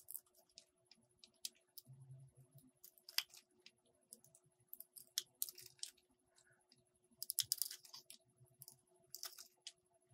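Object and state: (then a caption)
Soap bar shaved with a blade. A metal utility blade shaves strips off a solid green and white Lux soap bar, producing quiet, crisp, bright scraping clicks in an irregular series over a faint steady hum. Each scrape is very short and dry, with bursts clustering more densely in the later seconds.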